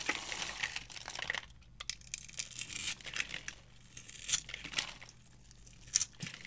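A small metal knife carves and scrapes flakes from a solid, palm-sized blue bar of dry soap held in one hand, and the shavings fall onto a pile of soap shavings. Dry, crisp scraping and crinkly crackles sound bright and high. Several sharper scrapes stand out over a quiet background.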